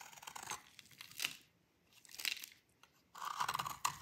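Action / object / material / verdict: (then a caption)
scrape / bar of soap / soap / none. A solid, dry rectangular bar of orange soap is held in the hand and shaved with a metal utility blade, sending crumbly gratings falling off. Dry, crisp scraping and crunching come in bursts with short quiet gaps between them. The texture is bright and papery, and the final burst has a tearing quality.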